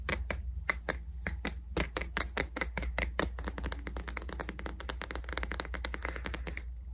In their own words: 18:27 Tapping on the Wood of the Boot Brush